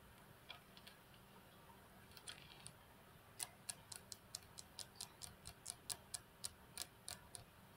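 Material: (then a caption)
Glass. Long fingernails of one hand tap the flat, solid glass tabletop of a computer desk. A few scattered clicks quicken into a steady run of sharp, bright ticks. Each tick dies away almost at once over a quiet background.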